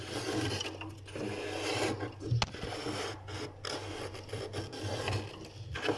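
A metal spoon scrapes a thick layer of white frost ice off the back wall of a freezer compartment with wire shelves. Repeated rasping, grinding scrapes sit over a steady low hum, with a few short sharp clicks as the spoon catches the ice. The frost buildup is abnormal.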